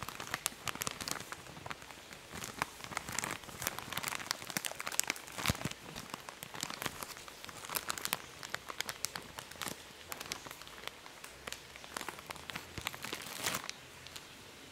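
A medium printed plastic snack packet that appears filled is held in both hands close to the mic while fingertips and nails crinkle and squeeze it. A steady stream of bright, dry crackles and sharp crinkling snaps runs throughout, with very little low end and no ringing.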